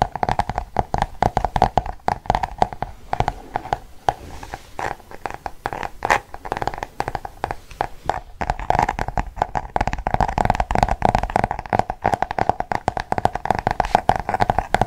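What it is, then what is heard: Paperback book with glossy cover. A closed paperback book with a glossy cardboard cover and a floral "Dessins" design is held near the mic and tapped and scratched across the cover with fingertips and nails. Rapid, dense, dry taps with a hollow mid-range tone around 730 Hz mix with soft scratching, and each tap stops almost instantly. There is a brief, sparser stretch in the middle before the steady tapping resumes.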